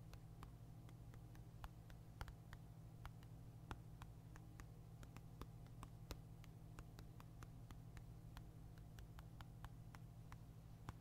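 A black Nintendo Switch console, a handheld-sized hard plastic device, is held upright in one hand while the fingertips and nails of the other hand tap and scratch its back and side. Dozens of quiet, sharp, bright clicks are heard, each fading almost instantly. They sit over a steady low hum that fills the whole clip.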